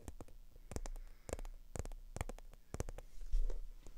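Long acrylic nails tap fast and scratch across a small black, glossy, croc-embossed faux leather handbag held up in the air. Quick, sharp clicks with bright edges ride over a dull, low thump. A soft scratching rustle swells near the end.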